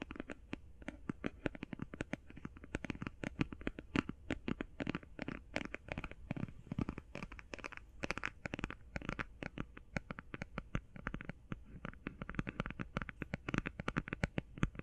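Fingernails tap rapidly on the face and edges of a closed, flat, rectangular, hand-sized cardboard eyeshadow palette. The result is a dense, continuous stream of short, dry, papery clicks with a soft low thump and almost no ring, over a faint low hum.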